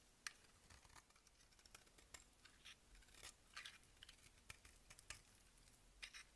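A box-cutter blade scrapes and shaves a solid oval blue marbled bar of soap held in the hand. Quiet, bright, crisp scratches and sharp ticks come in an irregular run, each dying away almost at once, over a soft steady hiss.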